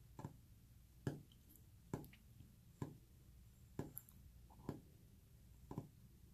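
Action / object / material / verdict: tap / wooden surface / wood / none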